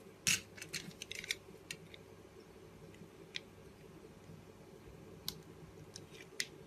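A utility knife blade shaves thin curls off a blue Arko solid soap bar held in the hand. Crisp, bright scraping crackles come in a quick cluster at first, then as sparse single strokes. The strokes are short and dry, over a faint, steady low hum.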